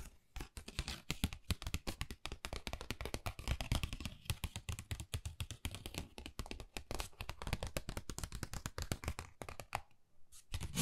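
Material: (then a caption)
Cardboard. Long nails rapidly tap and scratch across a flat pink textured cardboard Dior envelope. The result is a dense stream of short, dry, low thuds with crisp scratchy edges, and it eases into a brief lull near the end before the tapping resumes.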